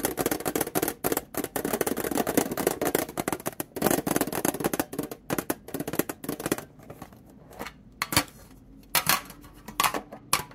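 Long painted nails tap and scratch the flat printed top of a small, hollow, rectangular metal domino tin lid lying on a towel, which is then set on its base. Dense, rapid clicky tapping and scraping fills the first half, then thins out into sparser, sharper taps with quiet gaps between them.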